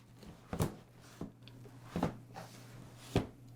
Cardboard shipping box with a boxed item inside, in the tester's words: you can hear it just sliding from side to side